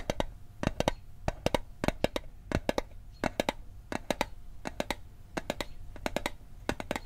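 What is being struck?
Thin metal mint tin.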